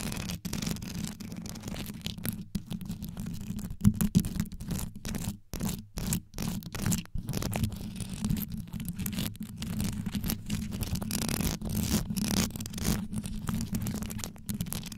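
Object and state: Rhinestone-studded microphone grille.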